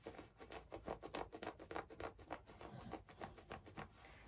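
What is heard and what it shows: A medium-sized, soft woven tapestry-style fabric bag in brown and red patterns is held against the chest and rubbed and scratched with long nails and fingertips across its textured surface. It makes a quick run of soft, dry scratching strokes that swell and fade in an uneven rhythm, with a faint high hiss underneath.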